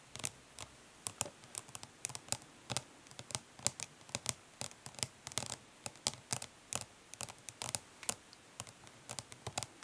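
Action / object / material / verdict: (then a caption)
tap / plastic makeup palette case / plastic / none. Long nails tap quickly and lightly on the printed lid of a closed, flat, hollow plastic eyeshadow palette. The result is a steady run of dozens of short, bright, dry clicks that stop instantly with no ring, with very little low end and a soft background hiss between taps.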